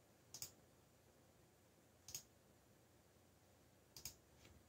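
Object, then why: Plastic mechanical computer keyboard keys. Fingertips tap the black plastic keycaps of a backlit mechanical computer keyboard, giving three sparse keystrokes about two seconds apart, each a quick double click. The clicks are bright and sharp with almost no ring, over a faint, steady low background.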